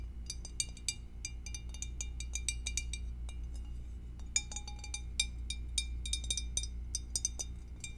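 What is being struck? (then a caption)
Glass food storage dish. Long acrylic nails tap the rim and sides of an empty, clear rectangular glass food storage dish with a divider, held tilted in the hands. A rapid, irregular series of short, bright glassy clinks with very brief ring rises over a steady low background hum.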